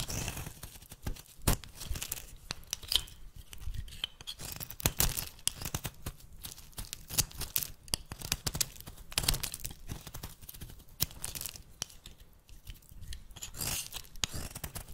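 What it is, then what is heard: Bar of soap being cut. A metal blade is drawn across a solid, rancid olive-yellow bar of soap held in one hand, cutting off crumbly chunks. The result is a dense, continuous run of crisp, bright scraping and crunching with sharp cracks and short tearing sounds as pieces break away.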